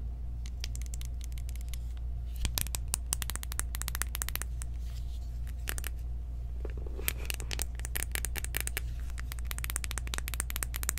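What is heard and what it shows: A small pink cardboard makeup highlighter compact, flat and hollow-bodied, is held open in the hands and tapped and scratched with long acrylic nails. Quick, irregular, bright clicks and scratchy scrapes sit over a steady low hum.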